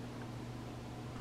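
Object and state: Nothing is struck.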